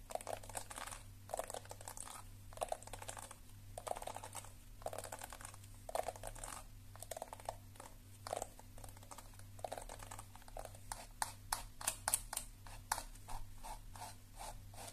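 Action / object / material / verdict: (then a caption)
tap / plastic hairbrush / plastic / none. Long nails tap the back of a lilac plastic detangling hairbrush and scratch across its bristles, held close to the microphone. Rapid, bright clicking taps and dry scratching bursts come in uneven clusters, growing quicker and sharper toward the end, over a faint steady low hum.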